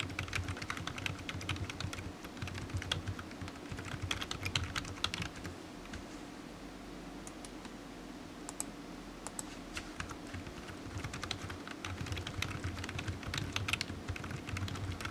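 Fingertips of one hand type on a solid black low-profile plastic computer keyboard resting on a desk mat, producing quick, bright, short clicks in irregular bursts. The tapping eases off for a stretch in the middle before picking up again, over a steady low hum.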